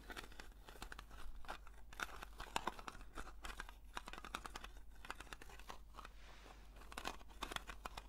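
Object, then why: Small metal cream tin. Long nails scratch across the lid and rim of a small, round blue metal Nivea cream tin, likely filled, as it is turned in the hands. Dense, crackly scratching with bright, papery rasps rises and falls in bursts, over a steady low hum.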